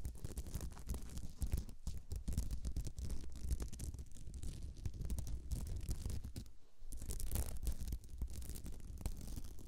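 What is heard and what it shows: Long nails scratch and tap a thin, solid, flat, sparkly beaded glitter placemat resting on the microphone. The result is a dense, continuous, close-up rustling scratch with a heavy low rumble, broken by a brief quiet dip just before the seven-second mark.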